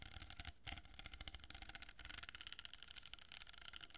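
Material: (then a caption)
Cardboard. Long nails scratch and tap along a hollow cardboard tube with a row of plastic pearl beads, held horizontally. The result is a dense, rapid stream of bright, crackly scratches and light taps over a faint low rumble, with a brief pause just after the half-second mark.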